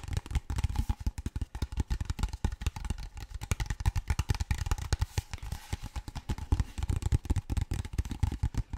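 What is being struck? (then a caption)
Large plastic water bottle. A large, clear, empty-looking PET plastic water bottle is tapped and scratched with fingertips and nails. The result is a rapid, steady stream of short, dull, hollow taps with a deep low thump, mixed with faint crackly scratching. Each tap dies away almost instantly.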